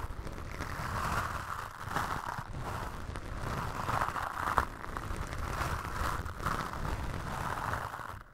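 Toothbrush bristles brush and scratch a black foam windscreen on a microphone, making a steady, close rasping sound. The scratching has a strong low rumble and a hissy middle band, with soft swells of loudness and little high end.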